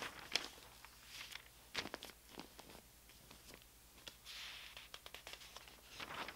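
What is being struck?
Thin printed newspaper paper.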